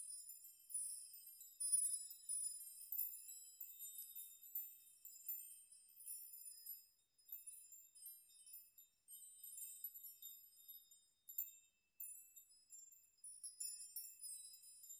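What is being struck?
Hanging metal nail chime.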